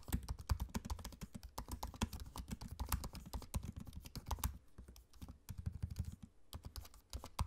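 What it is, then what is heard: Laptop keyboard being typed on. Both hands tap rapidly with their fingertips on the plastic keycaps of a dark grey, low-profile laptop keyboard set in an aluminium chassis, with a trackpad beside it. The result is a quick, uneven stream of short, dull, low-heavy key clicks with faint bright ticks. The typing slows briefly around the middle before picking up again.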